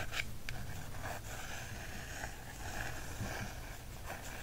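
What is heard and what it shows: A wooden stick traces and scratches over the card cover of a small softcover bird field guide held in hand. Steady, dry scratching and scraping strokes run throughout over a low rumble, with a few brief sharper swipes.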